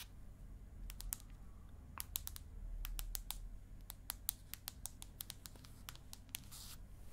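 Long acrylic nail tips tap on the aluminium back of an iPad mini held up in front of the face. About 27 sharp, bright clicks come in an irregular rhythm over a steady low hum, and each one dies away almost at once.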